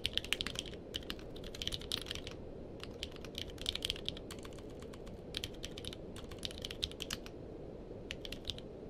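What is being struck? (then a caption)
Mechanical keyboard with plastic keycaps. Fingertips on both hands type on a purple-cased mechanical keyboard with plastic keycaps, making rapid, bright, clicky keystrokes centred near 2.9 kHz. The typing comes in quick bursts with short pauses between them. A steady low rumble sits underneath throughout.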